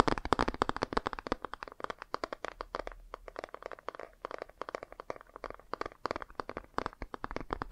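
Fingernails tap and scratch the glossy cover of a laminated cardboard board book held upright. A quick, uneven run of dry, crisp clicks mixes with light scraping; each tap is short and bright with almost no ring, centered in the low mids with some high crackle. The taps are loudest at the start, then continue in steady bursts with brief quieter gaps.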